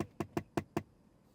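Five quick, dull knocks on the plastic trim panel of a US-built Tesla Model 3, knocked for comparison with the matching panel on a Chinese-built car. Each tap is short and hollow with a low-mid thud and almost no ring, and it sounds a little different from the Chinese-built car's panel.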